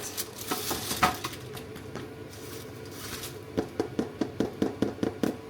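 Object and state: Hollow-sounding baked bread bun (baked through).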